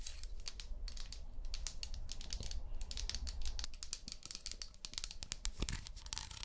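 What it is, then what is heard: Wooden comb teeth scratched. Long manicured nails scratch and strum along the teeth of a small, solid brown wooden comb held in one hand near a binaural microphone. Rapid, dense bright ticks and clicks flutter over a soft low rumble. The crisp taps come in quick irregular bursts for the whole clip.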